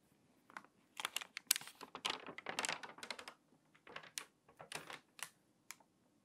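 Long-nailed fingers turn the pages of an open glossy paper magazine lying flat on a table, pressing them flat and creasing the crinkly paper. Irregular bursts of bright, papery crinkles and short rustles come and go with quiet gaps between them, with no low rumble.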